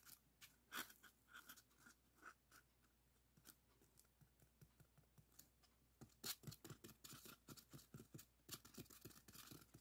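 A long, solid white expanded polystyrene block resting on a table is scratched and rubbed with the fingertips and nails of both hands. Sparse, bright squeaky scratches come first, then a denser run of rapid, crunchy scrapes in the second half. Each stroke stops short with almost no ring.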